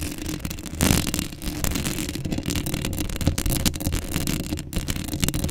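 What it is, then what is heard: Metal mesh microphone grille being scratched. Long acrylic nails scratch the hollow metal mesh grille of a black Blue Yeti microphone up close in the middle. The result is a dense, continuous scratching texture with a heavy low rumble and bright, gritty rasps, swelling briefly louder just before the one-second mark.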